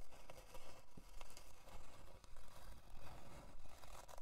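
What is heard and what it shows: Long dark nails scratch along the grain of a thin, flat, solid plywood heart-shaped board resting on faux fur. Dry, raspy scraping strokes repeat at a fairly steady pace, each a short crackly burst with little ring.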